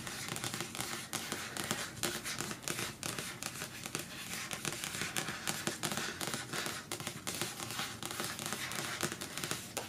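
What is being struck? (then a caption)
Paperback book with glossy card cover. Fingertips with long nails rapidly tap and scratch the glossy card cover of the closed paperback novel "Milkman," which lies flat on a patterned cloth. The result is a dense, continuous stream of crisp, bright clicks and papery scratching with a crinkly texture.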